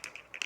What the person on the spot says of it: you can hear a little ball inside moving to mix the paint